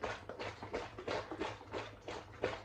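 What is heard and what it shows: A filled plastic hydration-pack water bladder that still holds an air pocket is shaken, and the water sloshes loudly. Eight rhythmic watery surges are heard, each a short splashing burst centered in the low-mid range. The sloshing is an unwanted noise that worsens as the water level drops and more air is inside.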